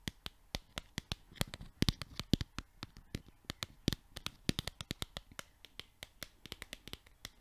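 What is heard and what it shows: The edges of a small yellow paper sticky note pad are flicked and scratched with long nails. About 39 sharp, dry clicks and ticks come in a quick, uneven series, each dying away almost at once, with soft papery scratching between them. The flicks are bright and crisp, backed by a faint low body.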